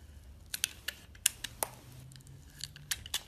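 A metal utility blade slices thin layers off a solid purple bar of soap held in a hand with purple nails. About ten short, crisp, bright scraping clicks sound at irregular intervals, each dying away almost instantly over a faint low hum.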